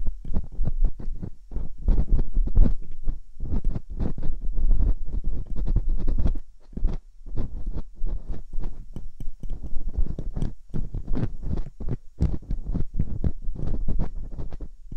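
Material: Silicone.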